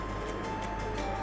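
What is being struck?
Nothing is struck.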